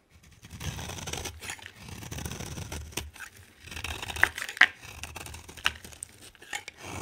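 A utility knife blade shaves a hand-sized, solid green bar of soap with a yellow rim into flakes. The result is irregular, dry scraping and crumbly rasps, broken by a few sharp, bright cracks and snaps as flakes break away.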